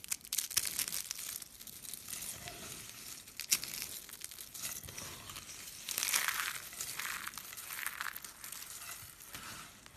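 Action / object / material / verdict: scrape / soap curls and flakes / soap / none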